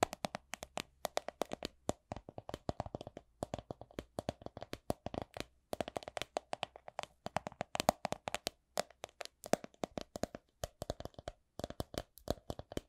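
A coin purse is tapped in quick, irregular bursts with brief pauses between them. Each tap is short, dry and quiet, with a hollow midrange tone and almost no ring.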